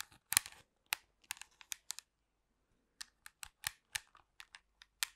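Long pink acrylic nails tap and scratch the surface of a black plastic TV remote control with buttons. The result is a quiet series of sharp, dry, bright clicks and scratchy ticks that stop instantly with no ring. A short pause comes midway before the tapping resumes.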